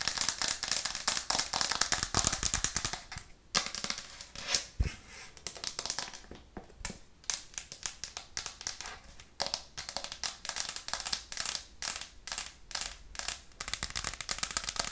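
A white plastic cutting board with green edges, held upright in both hands, is tapped fast and hard with long nails. The result is a dense run of sharp, bright clicks with very short decay, some bursts louder than others.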